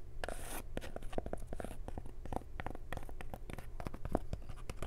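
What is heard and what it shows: Long nails scratch across the crown and stiff brim of a printed cotton snapback cap, making a rapid run of dry, rasping scratches and short clicks over about five seconds. A steady low hum sits underneath throughout.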